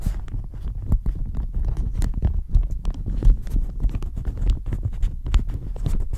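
A thin floral plastic shower cap over the mic is scratched and squeezed with fingernails and fingertips. Dense, close crinkling and scratching run continuously, with many quick, muffled taps and a heavy low rumble with little high-end content.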